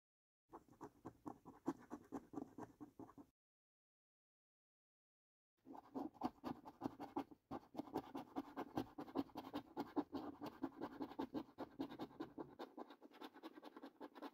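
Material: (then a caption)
Coated card. The edge of a metal coin scrapes the silver scratch-off coating of a flat, thin cardboard Coffee Break paper lottery scratch card. The card rests on a dark table, held by fingertips. Quick, gritty scratching strokes repeat for about three seconds, stop for a couple of seconds of silence, then resume and continue steadily to the end.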